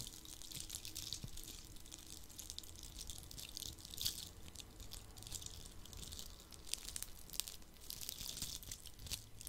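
A palm-sized red Christmas ornament ball covered in coarse glitter is held in the hand and scratched with the fingertips and nails close to the microphone. The result is quiet, continuous, bright crackling and scratchy hiss, with a few sharper clicks and a faint low rumble underneath.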